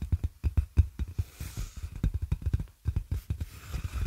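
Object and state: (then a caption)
Plastic air column packaging. A large clear plastic air-column packaging sheet with hollow, inflated tubes is held close to the microphone and tapped and scratched with long nails and fingertips. The result is a quick run of dull, deep thumps with very short decay, mixed with faint scratchy rustling.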